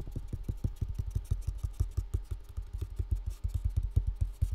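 A full box with contents inside is tapped quickly and steadily, making a rapid series of dull, low thumps. Each tap dies away almost at once, with no ringing.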